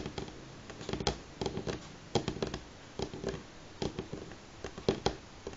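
Fingernails of both hands tap on a solid light pine wooden tabletop in quick, irregular flurries. Each tap is a short, dry click with a woody knock centred around 390 Hz that dies away almost at once. The overall level is quiet between the bursts.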